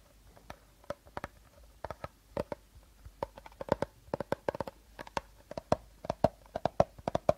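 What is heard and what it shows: A medium, hollow, seemingly empty clear plastic bottle with a teal plastic cap is held upright in both hands while short nails and fingertips tap and scratch its sides. About thirty quick, dry clicks and taps come in irregular bursts, each with a hollow plasticky tone near 650 Hz and almost no ring, over faint scratching.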